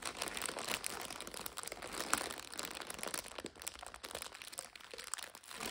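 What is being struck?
Plastic-wrapped instant noodle multipack.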